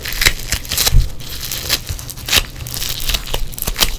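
Yellow foam bead clay is pressed, pinched and squeezed by fingers in black nitrile gloves, giving a run of bright crackling, crinkling pops. Short sharp bursts stand out over a low rumbling base throughout the clip.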